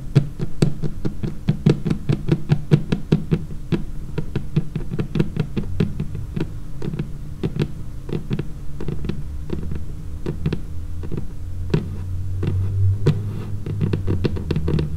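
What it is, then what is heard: Laminated wooden tabletop. Long painted fingernails tap rapidly across a large, flat, solid, dark laminated wooden tabletop. The taps are quick, dry clicks with a dull low thud and almost no ring, running steadily over a low, constant hum.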